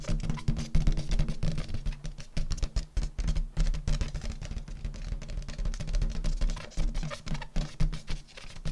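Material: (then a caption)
Latex. Fingertips and long nails tap rapidly on an inflated purple metallic latex balloon, hollow and filled with air. The result is a dense, continuous patter of soft, low, drum-like thumps around a 156 Hz tone, each dying away almost instantly, with faint bright clicks from the nails.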